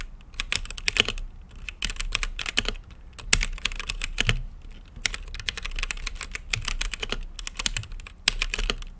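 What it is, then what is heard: Mechanical keyboard with plastic keycaps. Fingertips type on a mechanical keyboard with plastic keycaps and a translucent lit case, producing a fast, uneven run of bright, sharp clacks with a dull low thump under each press. Each keystroke dies away almost instantly, and the bursts of typing break with brief pauses around the middle and near the end.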